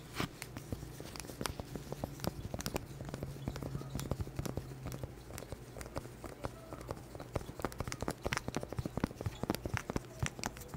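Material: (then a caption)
Cork. A small round cork board held close to the mic is tapped with black plastic claw nails, making rapid, irregular, dry knocks like a clip-clop. The short, sharp taps have no ring and sit over a steady low hum.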